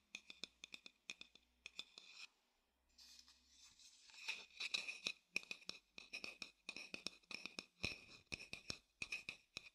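Fingertips tap and scratch the outer surface of a dark-brown hollow wooden bowl held upside down. Quick, dry, bright taps come in uneven bursts with almost no ring, broken up by a softer stretch of scratchy rubbing before the tapping picks up again.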